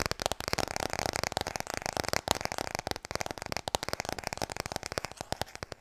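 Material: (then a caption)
Cardboard. Fast tapping on the hardcover book "Klaar voor bed" produces a rapid, uneven stream of short, dry taps. Each tap is a crisp, broadband click centered in the midrange with a bright edge and almost no ring.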